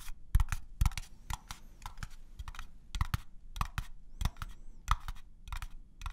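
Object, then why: Small unfinished wooden box. An unfinished wooden craft-store box is tapped on its different sides, and the sides give slightly different tones. Quick, irregular, dry taps follow one another in short clusters, each dull and low-heavy and dying away almost at once.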